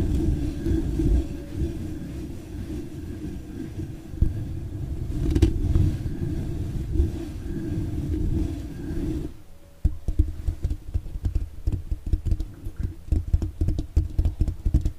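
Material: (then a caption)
Metal mesh. Long, dark-painted fingernails and fingertips scratch and tap all over the dark green metal mesh grille on the hollow, hand-sized head of a studio microphone. For about nine seconds a dense, low, rumbling scratch fills the sound, then after a brief dip it turns into a run of quick, dry taps over a soft low hum. Nearly all the energy sits in the deep bass, with almost nothing bright.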